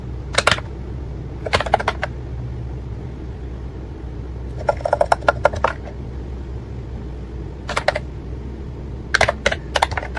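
Fingertips of both hands type Korean on an ACTTO white and pink plastic wireless keyboard with round keycaps. Short bursts of bright, crisp key clicks are separated by pauses, over a steady low background hum.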